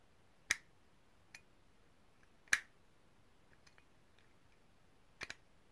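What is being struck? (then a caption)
Small brass herb grinder. A small, hollow, cylindrical, ridged brass herb grinder, held in both hands, is tapped and scratched with long painted nails. Five sharp, bright, dry taps ring out, the last two close together, with faint scratching ticks between them.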